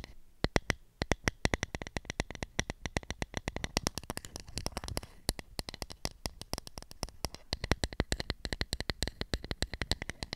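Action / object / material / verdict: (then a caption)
tap / plastic toy makeup compact / plastic / none. Long nails tap and scratch on the rim and tilted-open mirror lid of a round pink plastic kids' toy makeup compact, palm-sized and hollow. Dense, rapid streams of short, sharp clicks fire off with brief scratchy bursts in between, each tap dying out almost instantly.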